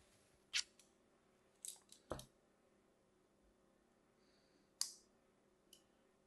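A solid, hand-sized Cream Absolut bar of soap, held in one hand, is scored with a thin metal scalpel blade in a scraping, cutting scratch motion. Seven short, crisp scratches are heard, bright and high-pitched, each fading almost at once, with quiet gaps between them.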